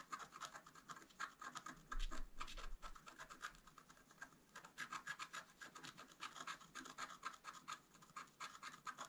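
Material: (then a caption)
Coated paper. A wooden stylus scratches the coating of a flat black-coated scratch art card in rapid strokes. The result is a steady run of short, dry, raspy scratches with a bright, hissy edge and a faint low hum underneath, briefly louder near the two-second mark.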